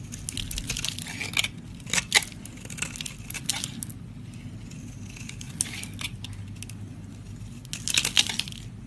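A flat metal blade scrapes pink curls and shavings off a solid pink soap bar held close up. The scraping comes as dry, bright, crackly bursts with short, sharp peaks over a steady low hum.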